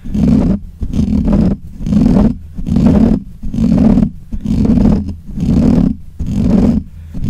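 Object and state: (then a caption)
Metal mesh microphone grille being scratched. Fingertips and nails scratch the black hollow metal mesh grille of a desk microphone in repeated strokes, about one per second. Each stroke is a loud, close, rough rumbling scrape centred low around 200 Hz, with a dull boomy low end and brief pauses between strokes.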